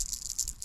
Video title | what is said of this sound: I'm Back! (and outside) | it's like a rattlesnake's tail